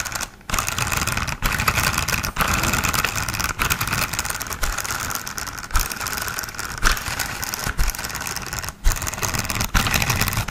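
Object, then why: Hollow plastic toy car. A hollow green and black plastic toy off-road car, about hand length, is held upside down near the mic while fingertips flick and rub its underside and spin its rubbery wheels. This produces a fast, dense stream of tapping and scratchy rustling with a low rumble beneath it. Brief drops into near-silence interrupt the sound throughout.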